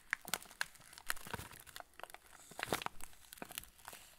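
A full TUC cracker packet in yellow plastic film is turned in the hands while fingertips rub and squeeze the wrapper. The result is a rapid, irregular run of sharp, bright crinkles and crackles with a few louder bursts, each dying out almost instantly over a faint background.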